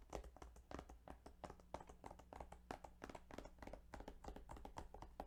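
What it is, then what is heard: Plastic game case. Fingertips tap quickly and lightly on the plastic game case of Yu-Gi-Oh! Duelist of the Roses, making a steady run of soft, dry clicks that die away almost at once. The quiet taps sit over a constant low hum, with a faint tone appearing partway through.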